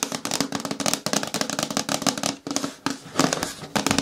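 Fingernails tap rapidly on a hard plastic container bin, a bucket with a lid, in quick bursts of dense, bright clicking. A hollow ring sits low in the mid range, and the tapping breaks off for short pauses before starting again.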